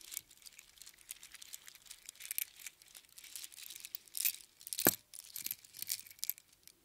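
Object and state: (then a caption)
Strand of seashells on string. A strand of small hollow spiral seashells on a string is held in the hands and rubbed together, then lifted so it hangs and clinks above an open palm. The result is a quiet, bright, dry rattle of many quick crinkling clicks. Near the end comes a sharper, louder clack.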